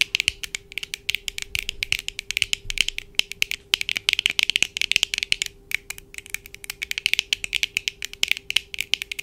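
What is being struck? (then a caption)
Plastic eyeglass frame and lenses. Long acrylic nails on both hands rapidly tap the lenses and frame of black plastic-framed eyeglasses worn on the face, close to the camera. The result is a dense, uneven stream of sharp, dry clicks with almost no ring, bright and centered around 3 kHz with nearly no low end, over a faint steady hum.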